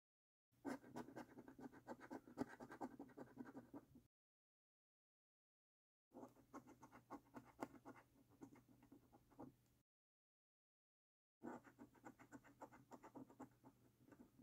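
The edge of a coin scratches the latex coating off a thin, flat paper lottery scratch card, a winning card. The sound comes in three bursts of quick, uneven, raspy scraping strokes separated by pauses of silence. It stays quiet and dry, with most of its energy in the low-mid range and little high end.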